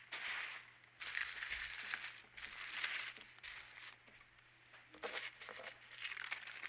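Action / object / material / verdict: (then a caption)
scrape / thin white paper sheet / paper / none. Both palms and fingertips rub and slide over a large, thin, translucent white sheet of baking or closet paper lying flat on a dark table. The result is a series of soft, bright, crinkly rustling swishes that rise and fall, centered around 2 kHz. The final sweeps are a little sharper.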